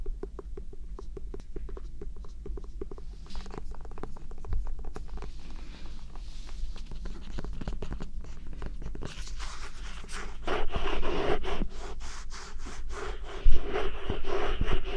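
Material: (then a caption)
Melon rind. A whole yellow Korean melon (chamoe), fist-sized with a firm, ridged rind, is held in one hand and scratched and tapped with the fingernails of the other. Quick, irregular scratches and soft taps run throughout, growing denser and louder past the ten-second mark, with one sharper tap standing out near the end.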